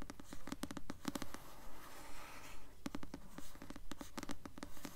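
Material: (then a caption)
Paper. Long nails slowly scratch and tap the glossy paper cover of the paperback novel "Delirium," a solid book held upright. The result is a quiet, steady run of short, dry scratching strokes with a soft low tone and almost no ring.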